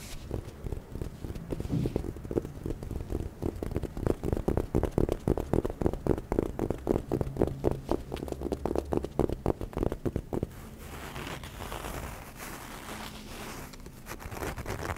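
Long nails tap and scratch the flat faces of a small, hollow, apparently sealed white and grey printed cardboard box for cotton products, held in both hands in front of the mic. Dense, irregular, dull low tapping fills the first ten seconds. Then it gives way to a softer, steadier brushing scratch with a brighter, airy texture.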